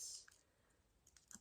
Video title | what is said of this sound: 🎄ASMR roleplay personal shopper - Tapping, gentle tingly triggers in cosy Christmas shop 🎄 | Looks like it's made of glass, but it's not. It's a plastic material, so it's very safe.